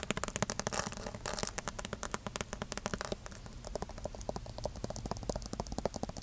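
A thick paperback Bible with a glossy printed cover and white paper page edges is held in one hand while fingertips and nails tap and scratch across its cover. A rapid run of dry, crisp taps comes through, with brighter scratchy hiss in the first half giving way to softer, more separate papery clicks.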